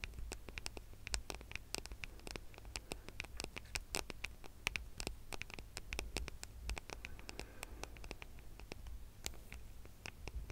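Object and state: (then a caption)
Smartphone with metal and glass body. A gold smartphone with a metal and glass body is held flat in both hands above a microphone while fingertips and nails tap and scratch its back. Quick, sharp, bright clicks and light scratches come in a dense, irregular stream over a faint, steady low hum.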